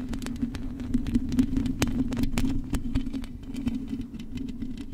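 Long acrylic nails scratch and tap across the hollow metal mesh grille of a silver microphone. Quick, irregular clicks and scrapes with bright, short edges sit over a steady low hum. The sound stays close and dense throughout.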